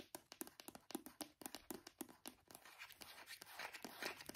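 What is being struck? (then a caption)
Small plastic cream tube. A small brown plastic hand cream tube, held horizontally between both hands, is tapped rapidly with the fingertips and nails. It gives a quick run of short, dry, hollow clicks with almost no ring or low end. The taps blur into a denser, softer, brighter rustling patter in the second half.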